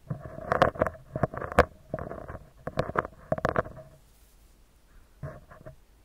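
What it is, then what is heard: Metal mesh microphone grille. Fingertips and short nails of both hands tap and scratch the round, hollow metal mesh grille of a handheld recorder microphone. The result is a close, crackly run of quick taps and scrapes with a hollow ring around 500 Hz and a few bright clicks. After a near-silent pause, a final short flurry of taps is heard.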